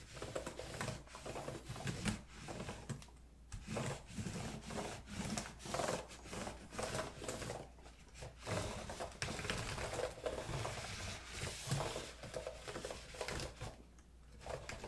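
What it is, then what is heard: Plastic laptop keyboard. Fingertips holding a paper tissue or wipe rub and press along the solid keys of a silver plastic HP laptop keyboard on a hollow chassis. Soft scuffing rubs mix with short, dull key clicks, mostly low and midrange with a light bright hiss, in uneven bursts throughout the clip.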